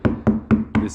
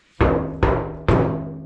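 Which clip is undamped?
The second.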